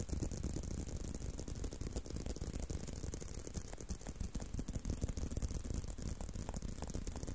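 Fingertips scratch and rub along the surface of a tan-brown leather belt strap held in a curve. The result is a steady, dense stream of quick, irregular scraping and rustling, heavy in the low end with a faint bright hiss above, at an even, moderate level throughout.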